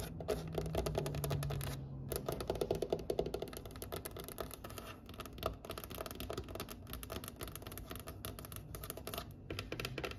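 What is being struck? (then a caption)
Wooden table top tapped with fingernails. Long nails tap rapidly and unevenly on a large, solid, pale wooden table top, while a wooden tray sitting nearby stays untouched. The dense, dry clicks and knocks have little ring, with a steady low hum underneath and a brief pause near the two-second mark.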